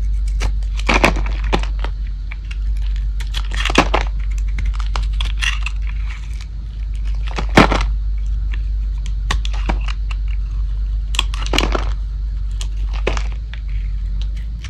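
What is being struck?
Bar soap shaved with a metal blade.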